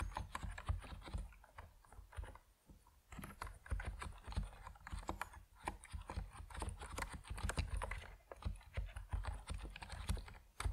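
Fingertips type steadily on a compact plastic Epomaker NiZ Plum Atom 68 mechanical keyboard with white and purple PBT keycaps. Rapid, short keystrokes land as muted, thocky clacks that are heavy in the low end and die away almost instantly. The typing runs in bursts with a few brief pauses.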